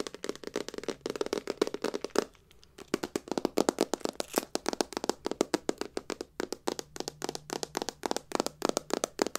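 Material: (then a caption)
Metal. Long nails and fingertips tap and scratch a hollow, rectangular hard-case silver metal clutch purse with a crackled metallic finish and a chain strap. Dozens of quick, dry clicking taps land in rapid bursts, with a brief pause a little past two seconds. Each tap carries a faint hollow tone around 410 Hz and dies away almost instantly.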